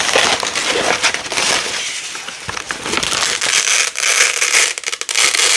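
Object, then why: Nylon hook-and-loop (velcro) strip. Orange and yellow nylon hook-and-loop (velcro) strips are peeled apart by hand with long nails, laid out, then pressed back together. A dense, bright crackling rip runs almost continuously, with short bursts and brief dips and almost no low end.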